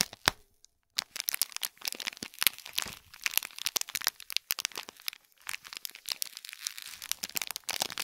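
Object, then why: Small gift box wrapped in metallic foil film. Long fingernails scratch and press the crinkly gold metallic film wrapped over the top and sides of a small hollow gift box. The result is a dense stream of bright, dry crinkles and sharp crackles with almost no low end, broken by brief silences near the start and around the middle.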